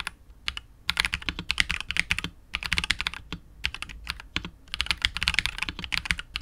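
A KBD67 Lite R2 65% mechanical keyboard with KTT Wine Red switches, PBT keycaps and a hollow clear polycarbonate case is typed on continuously with the fingertips of both hands. Quick bursts of bright, crisp clacks stop dead almost instantly, separated by brief pauses. Only a light low thud sits underneath.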